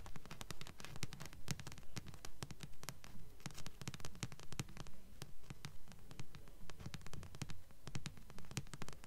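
Long nails rapidly tap the glossy front cover of a thick, solid paperback book held upright in both hands. The steady, even tapping gives dull low thuds topped with bright clicks that die away almost instantly.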